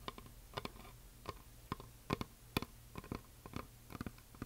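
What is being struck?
Painted wooden heart plaque.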